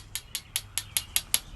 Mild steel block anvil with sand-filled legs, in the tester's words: filled them with used motor oil and sand and you can hear it doesn't ring